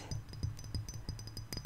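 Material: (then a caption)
Glass. A glass perfume bottle of Lily of the Valley scent is tapped about twelve times in quick, uneven succession. Each tap is a short, dry click with a soft low knock and a faint bright glassy ping that dies away almost at once.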